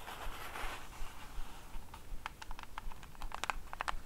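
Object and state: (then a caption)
Cardboard gift box tapped with nails. Long acrylic nails scratch and tap rapidly on a small, hollow orange cardboard gift box with a printed face, held in both hands. A soft, papery scratching wash in the first second gives way to quick, sharp, hollow-sounding taps with bright clicky edges that die away almost instantly, over a faint low rumble.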